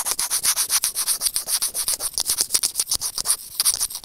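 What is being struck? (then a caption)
Plastic earphone inline microphone remote. Serrated white plastic tweezers held in fingers scratch and rub a small, hollow white plastic earphone inline microphone remote. Some 29 quick, uneven, bright scratchy strokes follow one another with almost no low end, with a brief softer stretch near the end.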